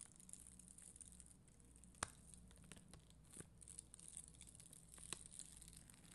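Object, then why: Acrylic rhinestones on a sticker sheet. A spoolie brush brushes and scratches a flat sticker sheet of red and clear acrylic rhinestones, with long green nails nearby. Quiet, soft scratchy rustling runs throughout over a low steady hum, with a few brief sharp ticks standing out.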